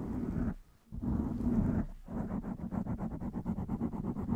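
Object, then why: Foam microphone windscreen. Long nails scratch the top of a blue foam microphone windscreen while one hand holds its side. The result is a muffled, low rumbling scrape: two sustained bursts separated by a brief silence, then a quicker series of rhythmic scratching strokes.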